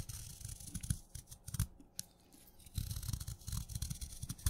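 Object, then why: Chalk stick cut with a knife blade. A solid blue chalk stick, soaked wet and held in fingers, has crunchy curls shaved off its surface by a craft knife blade. Dense bursts of low, gritty scraping and crunching come with brief bright crackles. They pause for a quiet stretch near the middle, then resume more steadily to the end.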